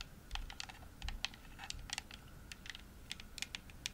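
Long nails tap repeatedly on the shell of a hollow, pink, glossy plastic Xbox controller. The taps come as quick, irregular, bright plastic clicks, each very short with almost no ring, peaking around 2.6 kHz. A faint low rumble sits underneath.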